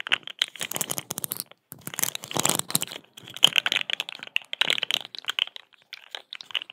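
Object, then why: Corrugated plastic pop tube. A small, hollow, rainbow-striped corrugated plastic pop tube is stretched, compressed and scratched with long acrylic nails close to the microphone. Dense bursts of bright, crackly clicks and rasping scrapes come in clusters separated by brief pauses. The sound is dry, with almost no low end.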